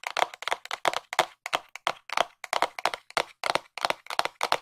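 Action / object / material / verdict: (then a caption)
tap / small printed cardboard box / cardboard / none. A small, hollow, white printed cardboard box is held in both hands and tapped with long nails, giving 21 quick, dry taps that fall in uneven bursts of two or three. Each tap is a sharp papery click centered in the mids around 700 Hz with a bright edge. The taps have no low end and almost no ring.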